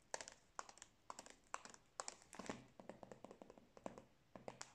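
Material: Plastic wrapper.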